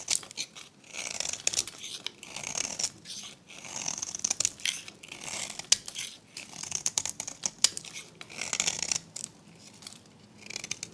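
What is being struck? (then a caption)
Bar of soap cut with a blade. A hand-held, solid rectangular pink bar of dried, varnished soap with a decorated edge is shaved and scraped with a metal utility blade into crunchy flakes. Repeated bursts of dry, bright, crackly scraping are punctuated by sharp clicks, with brief quiet pauses between strokes.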